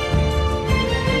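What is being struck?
Nothing is struck.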